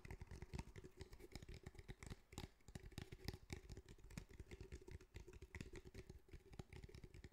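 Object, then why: Fabric-covered cylindrical speaker. Fingertips tap rapidly on the top and sides of a grey fabric-covered cylindrical speaker with a hard hollow body. The result is a dense, continuous run of short, dull, low-heavy knocks with a faint steady hum underneath.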